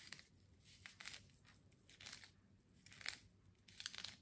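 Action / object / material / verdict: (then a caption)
scrape / burlap-wrapped plant pot / jute burlap / none. Long manicured nails scratch and rub the coarse jute burlap wrapped with a twine bow around a small potted succulent (likely artificial), held in both hands; the pot seems solid, filled with soil or foam. Quiet, bright, crunchy rasps come in irregular bursts with a faint low hum beneath, each scrape dying away almost at once.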